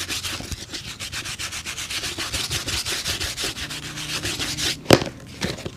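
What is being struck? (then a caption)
Leather shoe. A hollow, empty black leather work shoe held by hand and lathered with foam is scrubbed with a small bristle brush along the upper and toe. Rapid, bright, bristly rubbing strokes repeat steadily, then end in a sharp knock followed by a few quieter brushes.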